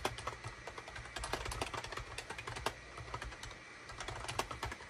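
A full-size wired USB SHIPADOO K600 keyboard with a gray plastic case, a hollow body and cream, gray and orange plastic keycaps rests on a desk mat while the fingertips of both hands type rapidly on it. Quick, bright plastic clicks and clacks run steadily throughout, each with a short thud beneath it and almost no ring.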